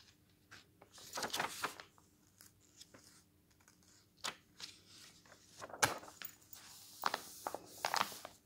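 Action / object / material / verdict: scrape / glossy paper magazine / glossy paper / none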